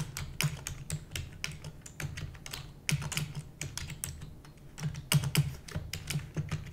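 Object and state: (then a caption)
Plastic computer keyboard. A full-size black plastic computer keyboard with hollow keys is typed rapidly with the long nails and fingertips of both hands. Quick, bright clacking keystrokes tumble over each other in uneven bursts, each decaying almost instantly over a low, hollow thump from the key bodies.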